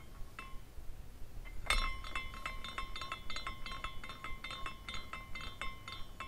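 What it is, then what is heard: Glass carousel ornament clinking. A hand spins a small clear glass carousel ornament by its top; it has glass horses, a spiral pole, a cone roof and a rainbow base. Its hanging glass parts clink together in quick, irregular, bright tinkles around 2 kHz, with a brief hum near 1 kHz. One sharper, louder clink comes early, over a low background rumble.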